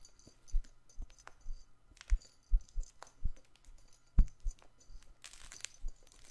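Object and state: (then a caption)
Stuffed fabric toy ball. Fingers scratch and squeeze a stuffed, soft fabric patchwork plush toy ball held up close, producing crinkling sounds. Irregular soft, low thumps and rustles come with each squeeze, with short, bright crinkly bursts between and a denser bright crackle near the end.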